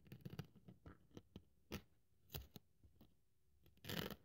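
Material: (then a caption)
Polyethylene foam. A craft scalpel blade cuts and scratches through a thin white polyethylene foam sheet held flat on a wooden table. Quiet, crisp crunching scrapes come in short separate bursts with a low, dull body, ending in a longer, louder rasping cut with a brighter edge.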